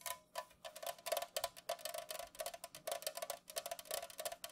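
An unopened, full Pepsi aluminum can lying on its side on a mat is tapped quickly with long nails and fingertips. The result is a rapid, irregular run of short, dry clicks with a bright, crisp top and a faint metallic ring near 633 Hz that dies away almost at once.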